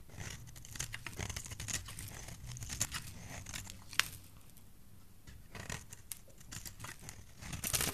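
A utility knife blade shaves and scrapes strips off the face of a solid, dry yellow bar of soap held in the palm. The result is a dense run of bright, crisp scraping and crumbling sounds, with a few sharper clicks and a low rumble underneath.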